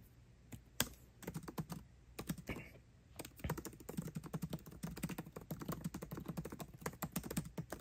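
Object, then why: Laptop keyboard with plastic keys in aluminium body. Fingertips type quickly on a MacBook Pro keyboard with plastic keycaps set in an aluminum body, next to the trackpad. A few scattered taps at the start give way to a steady, fast run of short, soft clicks that stop almost instantly, with a dull, low-pitched body.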